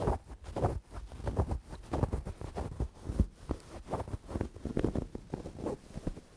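Long dark-painted nails and fingertips scratch, rub and squeeze a medium-sized, soft, stuffed dark grey velvet cushion held in front of the microphone. The result is a steady run of muffled, low, thumping rustles and soft brushing scrapes, heavy in the low end with almost no high or bright content.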